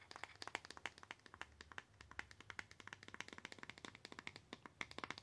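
Long acrylic nails tap rapidly on a small, plain white cardboard box that is hollow and closed. Dozens of quick, dry, crisp clicks with a bright, papery snap centered around 2 kHz fall in an uneven, continuous patter, each one dying out almost instantly at a quiet level.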